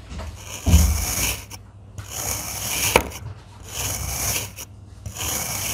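A stainless steel crinkle-cut knife, held in one hand, slices repeatedly through a solid blue and green block of damp kinetic sand. Each stroke makes a gritty, bright rasping scrape over a soft low thump, with short quiet gaps between cuts. Thin wavy slices of the sand pile up beside the block.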